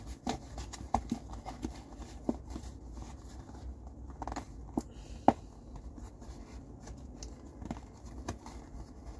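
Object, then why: Cardboard tissue box. Fingers tap and scratch the sides of an empty, hollow blue cardboard tissue box as it is rotated in the hands. Short, dull, hollow taps pop out irregularly over a steady bed of soft scratching and rustling, with one sharper knock just past the five-second mark. The sound stays low and muffled, with little brightness.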